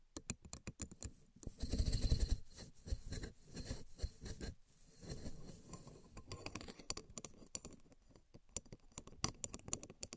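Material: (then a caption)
Bamboo. A flat bamboo sushi rolling mat made of thin slats tied with string lies on a table and is then held up while long nails and fingertips tap and scratch across the slats. Quick, dry, irregular clicks alternate with denser bursts of raspy scratching that carry a bright, rattly edge.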